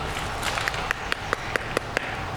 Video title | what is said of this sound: AU BOUT DU PARC / Documentaire Ostréiculture / Sony FX3 | Elles sont ouvertes, puis ça sonne creux.